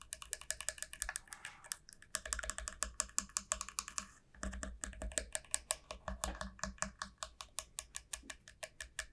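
Long nails tap and scratch along the narrow neck end of a large, hollow dried bottle gourd resting on a felt mat. Dozens of rapid, sharp, bright clicks come in quick bursts with no ring, and a soft scratchy hiss fills the gaps between them. The tapping pauses briefly near the two- and four-second marks before resuming.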